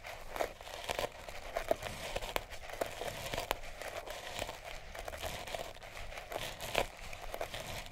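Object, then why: Sisal rope-wrapped cat toy. A small sisal-rope-wrapped cat toy is held in the hand and scratched and rubbed with long nails and fingertips. It makes a steady, dry, crinkly rasp with a low-mid hum, broken by many sharp scratchy clicks and brief bright crackles over the whole clip.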